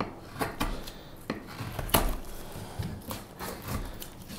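A straight steel knife shaves a solid, light wooden spoon blank held upright, producing a series of short, dry cutting and scraping strokes. Each stroke has a brief, bright, crisp edge over a soft low rustle and dies away quickly between cuts.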